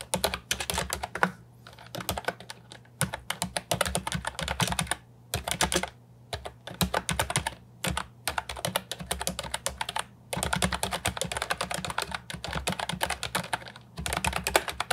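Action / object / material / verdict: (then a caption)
tap / plastic keyboard with round keycaps / plastic / none. Fingertips with medium-length nails type fast on an Ajazz 308I, a compact, hollow plastic wireless keyboard with round white and brown typewriter-style keycaps, resting on a wooden desk. Bursts of rapid, short, dry plastic clacks come in quick runs separated by brief pauses. A faint, steady low hum sits underneath.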